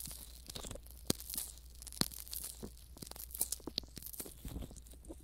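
A pair of hand-sized, soft, skin-toned silicone ear models mounted around a binaural microphone are coated with Vaseline and rubbed, squeezed and massaged with fingertips and thumbs. Close, quiet wet squelching and slick tearing, crinkling textures fill the high range, broken by sharp crackling pops and a steady low hum underneath.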